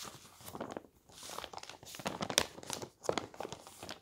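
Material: Paper.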